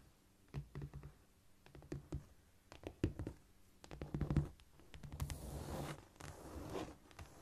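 Long nails tap and scurry across a flat, solid cork floor using both hands. Scattered dull, low taps come in uneven bursts, then give way to a longer, brighter scratching rush before more light tapping.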